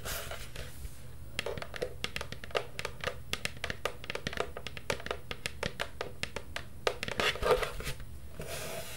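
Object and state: Hollow plastic cauldron.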